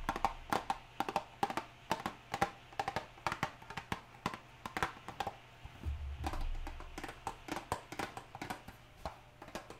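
A small printed cardboard hair dye box is held in one hand and tapped on its top and sides with long nails, making quick, crisp, short taps with a hollow papery tone. Rain is audible in the background, along with a steady low hum and a brief low rumble partway through.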